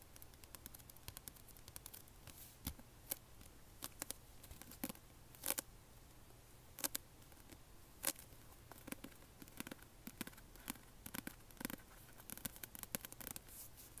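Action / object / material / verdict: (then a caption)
scrape / hardcover book with paper dust jacket / paper / none. Fingertips and short nails scratch and tap across the glossy paper dust jacket of a closed, medium-sized hardcover book, "The Land of Stories," held upright in both hands. Quiet, dry scratches and crisp taps come in rapid, irregular bursts with a bright papery edge. A soft low hum sits underneath.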